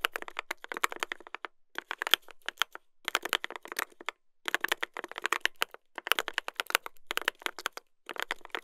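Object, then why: Mechanical keyboard with brass plate and plastic keycaps. Two hands type continuously with their fingertips on a mechanical keyboard with a brass plate and plastic keycaps. Rapid bursts of sharp, bright clacks are separated by brief pauses. Each keystroke is crisp and dry, with almost no low end.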